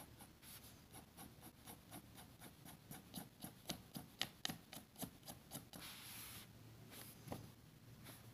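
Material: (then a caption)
Paper. A metal fountain pen nib scratches dense hatching strokes across a flat, thin sheet of grid paper on a table, while a red plastic contact lens case beside it stays untouched. Quiet, bright, dry scratches repeat at about two per second, building to sharper strokes midway, then smear into a steady soft rasp before the strokes resume.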